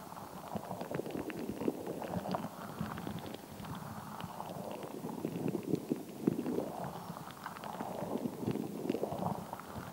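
A palm-sized translucent rubber stress ball, solid and full of colored water gel beads, is squeezed, kneaded and scratched close to the mic with long acrylic nails while held in both hands. It gives a continuous wet, squishy churning sound in the low mids, with many quick clicky pops and crackles from the beads and nail scratches throughout.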